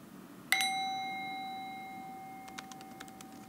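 A small, hollow, empty brass singing bowl, resting on an open palm, is struck once on the rim with a lightly held wooden mallet. It rings with a clear, bright tone: a steady fundamental near 750 Hz, an overtone around 2.1 kHz and higher shimmering partials. The tone slowly fades over about three seconds while faint clicks sound near the end.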